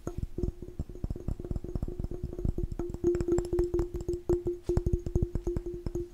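A glass jar is tapped fast and aggressively in a rapid, uneven stream of short, dull taps with a strong low thump. A steady ringing tone sits under the taps throughout, and each hit dies away almost at once.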